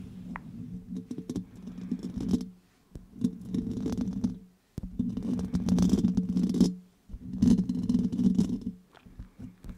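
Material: Steel mesh.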